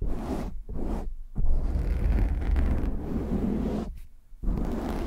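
Hands cup a black foam windscreen on a microphone while fingertips scratch it quickly and roughly. The result is a dense, boomy, low rumbling scrape with brief near-silent gaps between bursts.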